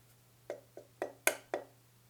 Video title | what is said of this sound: Schiit Modi 3 review | when knocked, it sounds hollow. It's clear that this upper plate is kinda thin.